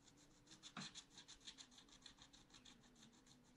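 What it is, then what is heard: Scratch art paper being scratched. A wooden stylus held in the fingers scratches back and forth across a black-coated scratch art paper sheet in a small spiral notebook lying flat on a table, filling in a cactus pot. It makes a steady run of quick, bright rasping strokes with short separated scrapes, one louder stroke near the start, and a faint low tone running underneath.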